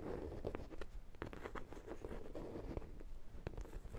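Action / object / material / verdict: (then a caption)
tap / soft vinyl ring-shaped dog toy / vinyl / none. A large, hollow, ring-shaped vinyl sprinkle-donut dog toy, yellow with a brown glaze, is scratched and tapped with long black nails. Quiet, dry clicks and taps sit over a soft, low scratching rustle, each tap dying away almost at once.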